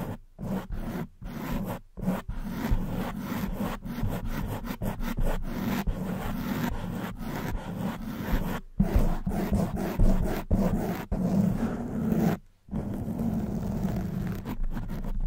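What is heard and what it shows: Long white almond-shaped nails scratch a black foam windscreen on a silver microphone. The result is a dense, continuous rustling scrape weighted toward low frequencies, broken by a few short silent pauses between bursts of scratching.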